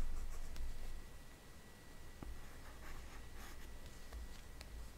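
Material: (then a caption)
Glass. A hard plastic stylus tip on an Apple Pencil, held in the fingers, taps and scratches short strokes across the glass touchscreen of a large iPad. Soft, quiet ticks and brief scratchy strokes sit over a steady low hum and a faint thin tone.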